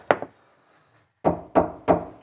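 Knocking on a wall in the attic void of an old stone building, near what might be a chimney breast, gives five short, dull knocks: a quick pair, a pause, then three evenly spaced. Each knock is a brief midrange thud that dies away almost at once. The wall is judged solid, yet wood is found behind it.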